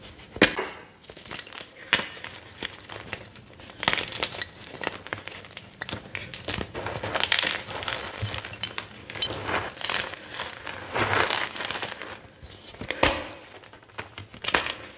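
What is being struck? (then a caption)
Gym chalk block pieces (magnesium carbonate). Solid white gym chalk (magnesium carbonate) block pieces are snapped and crushed by fingertips and hands over a heap of crumbled chalk. Dry, bright crunches and sharp snaps come in quick irregular bursts, with brief crumbly crackling between the louder breaks. The pieces break and crumble.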